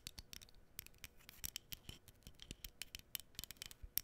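Long nails scratch and tap across the surface of a small, flat, printed cardboard menorah decoration held close to the mic. A quiet, rapid series of dry, bright clicks and scratchy rasps follows, each one dying away almost instantly.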